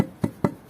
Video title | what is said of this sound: Building a Small House in 27 Days: Full Step-by-Step Construction | it's solid now after the first day was a little bit not totally dry